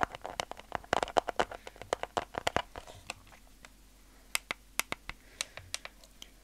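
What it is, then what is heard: Plastic game controller. Fingertips press and tap the buttons and shell of a hollow, white plastic handheld game controller held in both hands. A dense burst of sharp, dry clicking taps comes first, then sparser, isolated clicks over a quiet background.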